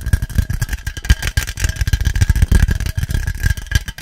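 An aluminium Monster Energy drink can is tapped fast and aggressively, giving a dense, continuous stream of dull, low, hollow thuds with bright clicky edges and a faint metallic tone near 1.7 kHz. Each tap dies away almost instantly, with no lingering ring.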